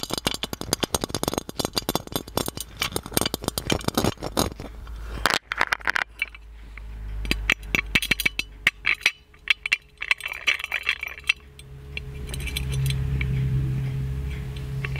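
Fingertips and nails tap and scratch the body of an ornate gold-plated metal magic lamp. Rapid bursts of bright, clicky metallic taps fill the first few seconds, followed by scattered taps and rasping scratches over a steady low hum.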